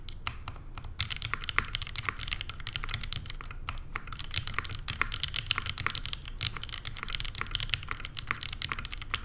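Two hands type fast with long painted fingernails on a Neo87 by CherryB Works, a tenkeyless mechanical keyboard with JWK Lilacs switches, a rose-gold aluminum case and cream and grey plastic keycaps. It makes a dense, steady stream of short, crisp, bright clacks over a soft low thock, with each keystroke dying away almost instantly.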